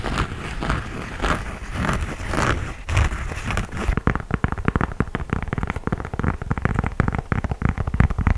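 Fingertips scratch and tap the knit upper of an empty cream knit textile sneaker, then move to its gum rubber outsole. The first half is a soft, hissy rustling scratch, which gives way to a quick run of sharp, dull, low taps that fade almost instantly.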